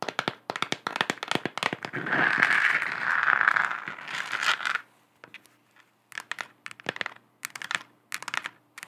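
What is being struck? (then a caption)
Hollow textured plastic globe lamp. Long acrylic nails tap quickly on a lit, hollow, textured plastic moon lamp, making dry, clicky taps. Midway the taps blur into a dense scratching rasp centered around 1.7 kHz. The rasp stops sharply and the clip ends with sparser bursts of bright tapping.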